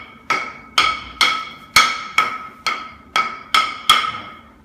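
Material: Ceramic tile.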